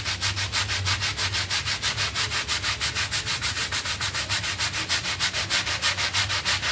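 A red hand brush with dark bristles scrubs back and forth across a small, dirty, rectangular synthetic pile carpet mat lying flat on a tiled floor, wet and covered in soapy foam. Steady, rhythmic bristle strokes, about three per second, produce a bright, hissing, wet scratching with a faint low thump under each pass.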